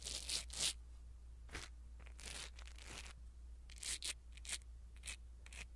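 A blue silicone-bristle ear pick brushes over a small black foam windscreen on a pin microphone. It makes soft, bright, scratchy rustling strokes in uneven bursts over a steady low hum.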